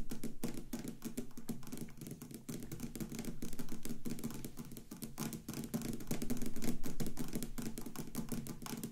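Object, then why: Clear resin block with a light bulb cast inside. Very long pointed acrylic nails tap rapidly on both sides of a solid clear acrylic or resin block with a light bulb cast inside; the block stands on a wooden table with a flashlight resting on top. The result is a dense, steady patter of short, dull clicks, about three or four per second, that swell and fade in loudness throughout.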